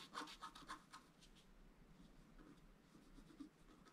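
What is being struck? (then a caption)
Scratch art paper card scratched with a wooden stylus. A wooden stylus scratches the lower tree area of a flat scratch art paper card. It starts with a quick run of bright, scratchy strokes in the first second, then settles into softer, steady scraping with one sharper stroke near the end.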